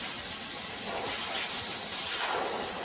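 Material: Nothing is struck.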